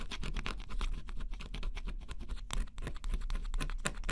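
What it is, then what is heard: Scratch-off cardboard puzzle being scraped. A stylus held in the fingertips scratches the black coating off a flat, thin coated-cardboard scratch-off jigsaw puzzle. Quick, dense scratching strokes run almost without a break, each a bright, papery rasp over a steady low rumble. The coating flakes away in short bursts, with brief quieter gaps near the end.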